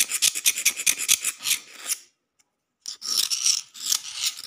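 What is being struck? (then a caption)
Rough concrete floor. A metal utility knife blade rapidly scratches and taps a solid, rough concrete floor, making bright, rasping scrapes with many sharp, quick onsets. The scraping stops for under a second of silence, then resumes in the same harsh, high-pitched rhythm.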